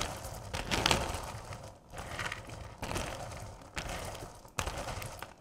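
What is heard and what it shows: Hands with long purple nails scoop, lift and rake through a bowl full of small, solid candy corn pieces, letting them drop back into the bowl. Each handful makes a dry, bright rattling clatter as the pieces spill and shift against one another, with several sharper bursts between quieter stretches of trickling.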